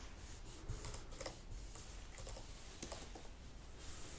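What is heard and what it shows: Fingertips with long nails rub a wipe across the black plastic keys of an open laptop keyboard. A quiet, steady wiping hiss runs throughout, broken by soft, bright key clicks and taps over a low rumble.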